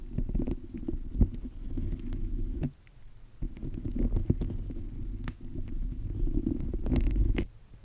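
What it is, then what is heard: Bunch of green grapes rubbed on a microphone. A small bunch of fresh green grapes is held in the fingertips and rubbed and squeezed against the top of a microphone. This makes a deep, muffled rumbling and thumping, broken by sharp clicks and crackles. There is a brief quieter pause near the middle before the rubbing resumes.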